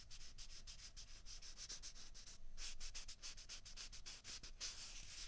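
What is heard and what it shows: Small hollow white plastic ping pong balls, one held in each hand, are rubbed and scratched with fingertips and nails. The result is a rapid, uneven run of dry, bright scratching strokes with a soft low rumble underneath, each stroke dying away almost at once.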